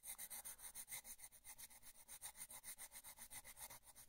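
A purple colored pencil scratches and rubs back and forth in small, quick strokes on the flat paper page of an open coloring book, held down with the other hand. The result is a soft, steady, rhythmic scratching with a bright, hissy texture, each stroke swelling and fading in a continuous pulse.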